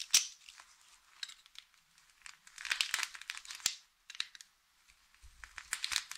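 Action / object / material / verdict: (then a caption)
scrape / bar of soap / soap / none. A utility knife blade slices thin strips off one end of a solid blue Fax soap bar held flat on a bed of soap shavings. It makes crisp, bright cutting and crunching sounds in a series of quick scraping bursts, with a brief pause partway through.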